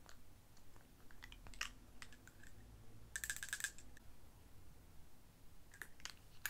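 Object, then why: Small amber glass dropper bottle. A small, dark amber glass dropper bottle with a white dropper cap and a label, apparently filled, is held in the palm and tapped with long painted nails. The taps come as rapid, typing-like clicks, each bright and glassy with almost no ring. A dense flurry of clicks sits in the middle, over a low, quiet rumble.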